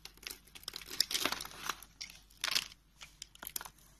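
A utility knife blade scrapes and carves a solid, dark brown rectangular bar of soap held in the hand, lifting small flakes. The strokes make dry, crinkly, bright scraping sounds in short, uneven bursts, with quiet gaps between them.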